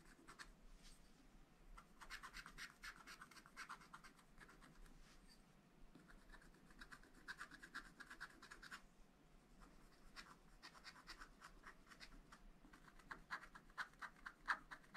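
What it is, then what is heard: Scratch-art paper being scratched. A wooden stylus scratches fine lines into a black wax-coated scratch-art page, thin flat paper in a small spiral-bound pad. Quiet, dry scratching strokes with a bright, crisp edge come in irregular bursts, briefly pausing around the middle before resuming.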